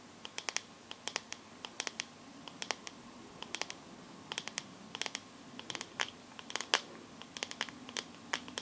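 Long nails tap and scratch across the glass back of a teal smartphone held sideways. Quick, bright clicks come in uneven clusters, with light scratching between them over a low, quiet background.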